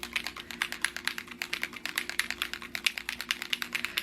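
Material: Ink.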